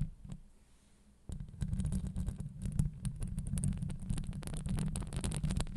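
Long acrylic nails scratch a hollow steel wire-mesh microphone grille, both on top and along the sides. After a quiet opening, a dense, deep rumbling scrape starts at about 1.3 seconds, scattered with bright, sharp clicks as the nails catch the mesh, and it continues steadily to the end.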